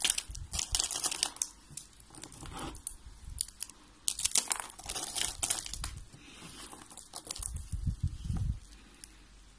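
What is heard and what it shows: Fingers with red nails snap and crumble white curved strips of dry soap and an orange rolled soap rose. Bursts of bright, dry crackling and crunching come in quick clusters with short pauses between them. Near the end, a heavier crumble adds a low thud.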